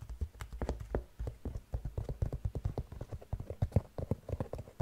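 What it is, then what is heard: Sequin-covered slip-on shoe. A single gold sequin-covered slip-on sneaker with a white rubber sole, hollow and empty, is scratched and tapped across its sequins with long nails. A quick, uneven run of short, dry, low-pitched taps follows, mixed with faint scratchy rustling.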